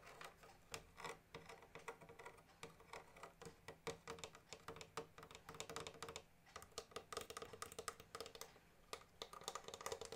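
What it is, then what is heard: Plastic-covered accordion casing. Fingertips and nails tap and scratch the shiny plastic-covered casing and metal grille of a small blue pearloid-covered accordion, a hollow body held in a lap. A quiet, steady stream of quick, dry, clicking taps, some in rapid bursts, mixes with light scratching. Each tap dies away almost instantly.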